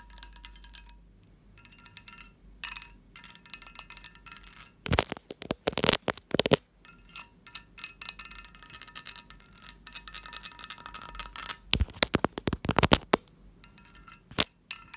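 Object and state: Cut-glass covered dish, ringing.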